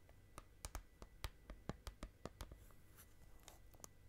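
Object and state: Clear plastic slime container.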